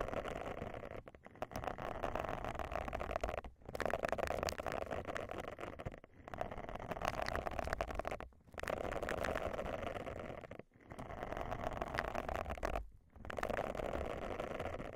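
Long glossy nails scratch across the dense, soft bristles of a round, flat, lavender silicone face scrubber pad laid over a microphone. The result is a dense, crackling, rustling scratch with a muffled midrange body, played in repeated sweeps separated by brief pauses.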